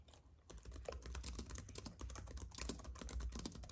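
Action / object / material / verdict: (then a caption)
tap / plastic keys on an aluminum keyboard base / plastic / none. Both hands type steadily with their fingertips on a slim white wireless keyboard with plastic keys and a silver aluminum base, which lies on a dark fabric mat. A rapid, uneven run of short, bright plastic clicks and taps sits over a steady low hum.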